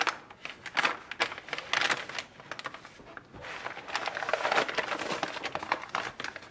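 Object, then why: Sheet of kraft wrapping paper. Fingertips with painted nails rub, smooth and crinkle a large crumpled sheet of brown kraft wrapping paper lying flat on a wooden table. Dense, irregular bursts of dry, bright crackling rise and fall, with a quieter stretch in the middle before a busier rustle toward the end.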